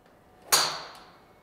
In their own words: 一般の方向けのドライバーその打球音は少々芯を外れても高い音が響き爽快感を演出しています